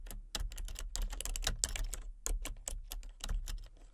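Fingertips with long nails tap quickly across the keys of a full-size, hollow-bodied plastic computer keyboard with color-changing backlit keys. Each keystroke gives a short, bright plastic click over a low, hollow thump, and the clicks die away almost instantly. The result is a steady, uneven run of typing.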